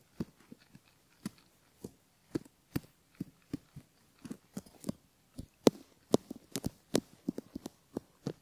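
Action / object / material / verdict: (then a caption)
scrape / silicone ear model with bamboo ear pick / silicone / none. A thin bamboo ear pick, held in the fingers, gently scratches and rubs around the outer ear and canal entrance of a single cream-coloured silicone ear model, a solid soft mold with a metal mic capsule in the canal. The result is an irregular series of short, dry, crackling scrapes heard very close up, each with a soft low thump and a bright crisp edge. The scrapes die away almost instantly between strokes.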